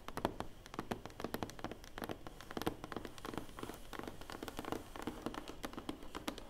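Long painted nails tap rapidly on the lid of a large, closed, hollow black cardboard award box. The taps are quiet, dry and clicky with a hollow low-mid body and almost no ring, running as a steady, uneven patter throughout.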